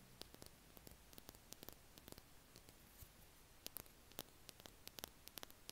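A small, hollow green Stabilo Boss plastic highlighter held between both hands is tapped and scratched with fingertips and nails. The result is a quiet, uneven run of sharp, dry clicks with bright, high ticks and brief scratchy rustles over a low, steady hiss.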